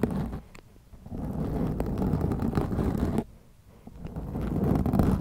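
Long acrylic nails scratch both sides of a black foam windscreen on a white microphone, making a dense, muffled rumbling scrape heavy in low tones. The scratching drops quiet briefly just after the midpoint, then builds back up to a steady, rough texture.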